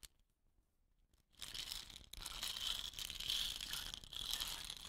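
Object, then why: Painted wooden rain stick tube. Fingertips and long nails tap and scratch the painted tube of a hollow, dot-painted wooden rain stick resting on dark cloth. After about a second of near silence, a dense, bright scratching rasp starts up, with a strong high band and brief dips in between. The crisp, papery scraping continues steadily to the end.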